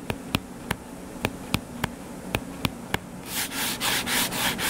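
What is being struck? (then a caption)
Closed hardcover paper book. Short fingernails on the cover of a closed hardcover paper book lying flat and solid make nine sharp, dry taps over about three seconds. These are followed by rough, bright scratching strokes across the cover, all over a faint steady low hum.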